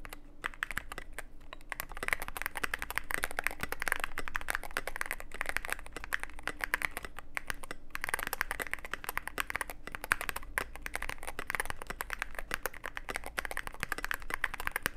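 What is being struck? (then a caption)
Mechanical keyboard with plastic keycaps. A Cyberboard mechanical keyboard with plastic keycaps and a dark case is typed on continuously with the fingertips of both hands. It makes a dense, steady stream of quick, clicky keystrokes with a bright, crisp tone and almost no ring, over a faint low hum.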